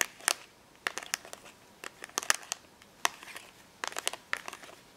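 Long nails tap and scratch along a card-backed clear plastic blister pack holding five permanent markers, lying flat on a counter. Sharp, bright clicks and brief crinkly scrapes come in irregular bursts, each dying away almost instantly with no low end.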